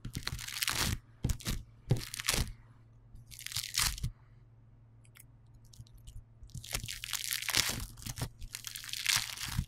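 Fingertips pinch and squeeze a solid, hand-sized lump of yellow polystyrene bead foam clay, producing bursts of bright, crunchy crackling over a faint steady low hum. The squeezes come in short clusters, with a quieter stretch of only a few light ticks in the middle before the dense crackling returns.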